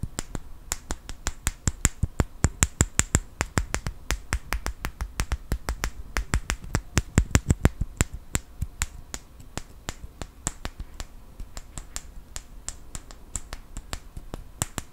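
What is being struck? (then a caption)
Small wooden clothespin. A small wooden clothespin is handled close to the microphone, with fingertips and nails tapping and clicking on it. Many short, sharp clicks come in a steady stream for the whole clip, each with a quick, dry decay, a low thump and a bright tick on top.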